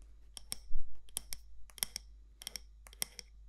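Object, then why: Glass or ceramic candle jar with a metal lid, tapped and scratched with long nails. Long nails tap and scratch the side walls of a medium matte black candle jar with a gold lid. Crisp, bright clicks come in quick clusters, broken by a brief, louder, duller scrape early on, over a quiet low hum.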